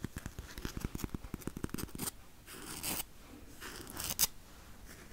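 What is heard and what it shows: Fingertips and nails scratch and peel at the edge and surface of a large roll of blue crepe-paper painter's tape on a hollow cardboard core, held up close. A quick run of sharp, dry clicks and scratches fills the first two seconds, followed by softer, hissing peel-and-tear swells and a brief bright peel near the end.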